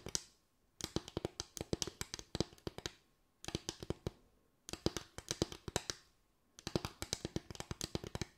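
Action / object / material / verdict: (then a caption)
tap / bamboo tray / bamboo / none. Fingers tap a bamboo tray in quick, dry clicks that cut off almost instantly, with a woody mid-range knock and crisp high clatter. The taps come in rapid flurries separated by brief pauses.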